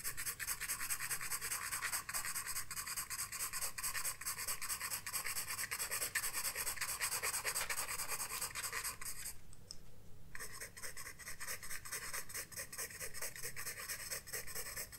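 A graphite pencil held in the fingertips draws and shades on the page of a spiral-bound paper sketchbook lying flat on a wooden desk, making short scratching strokes. The scratching is steady, bright and papery, with a rapid, uneven rhythm of strokes and a low background rumble. Near the ten-second mark it briefly drops out before resuming.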